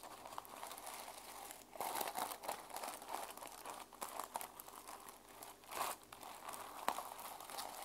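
Long nails scratch and flip the plastic sequins on the cover of a small journal held in one hand. The result is a steady, dry crinkling rasp centered around 1 kHz, with louder, brighter bursts of flipping at about 2 and 6 seconds and a sharp click near the end.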